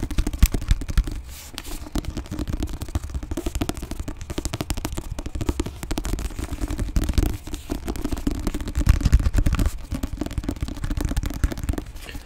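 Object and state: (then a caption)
Paperback book. Fingertips and short nails tap and scratch the cover of a medium paperback book with a pink back cover and an illustrated front, made of solid paper and card and held in both hands. The book is flipped from back to front partway through. The result is a dense, rapid run of dull, low, thumpy taps and soft scratchy rustles with almost no bright content and each tap dying away at once.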